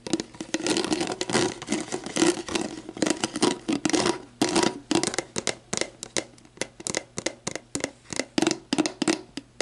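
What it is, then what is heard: Plastic drink bottle. Long black nails tap and scratch a clear, hollow, mostly empty plastic sports drink bottle lying on its side, working over its base and the barcode area of its label. Dense, rapid scratching in the first half gives way to separate quick taps, each with a short hollow plastic tone around 310 Hz and a bright, crackly edge that dies away almost instantly.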